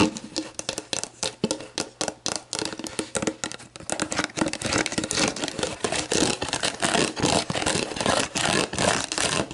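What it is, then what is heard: Plastic drink bottle, tapped and scratched. Long black-painted nails tap and scratch the plastic label and body of a clear, hollow, mostly empty plastic Gatorade Zero bottle, first standing upright and then laid on its side on a wooden table. The result is rapid, irregular hollow plastic clicks and crinkly scratching that start as spaced taps and grow into a dense, steady stream.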